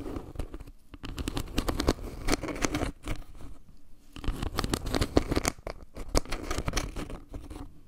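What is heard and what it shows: Long painted nails tap and scratch across a round, flat, solid wood-slice trivet carved with maple leaves and set with a dark pebble-like center. The result is a dense run of short, dry wooden clicks and scratchy rasps with a warm low-mid body. A brief lull comes near the middle before the tapping picks up again.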